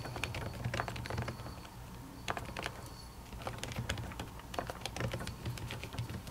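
Typing with long natural fingernails on a silver laptop keyboard with plastic keys under a white silicone cover. Soft, muffled clicks and taps patter in quick, uneven bursts over a steady low hum, each tap dying away almost instantly.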